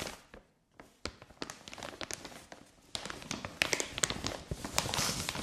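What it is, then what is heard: Plastic mailer bag. Long nails tap, scratch and crinkle the surface of a white printed plastic mailer bag lying flat on carpet with soft contents inside. Quick, irregular, bright clicks and papery crinkles come in a dense stream. A brief quiet pause early on is followed by busier, louder tapping toward the end.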